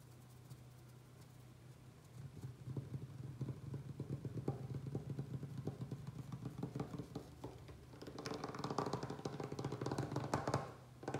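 Fingertips and short nails fast-tap a large, solid wooden butcher-block table top with both hands spread flat. Quick, dense, low-pitched knocks build from about two seconds in and swell louder near the end.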